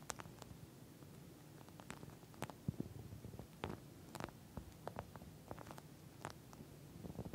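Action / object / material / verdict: tap / plastic-covered gel bead eye mask / plastic, gel / none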